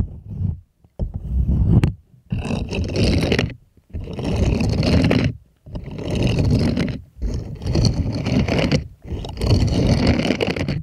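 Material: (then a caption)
Silicone. Small plastic toy hands scrape and scratch across the nubby palm of a purple bristled silicone scrubbing glove that is being held up. Seven rough, rustling scraping bursts with a heavy low rumble are heard, separated by brief pauses.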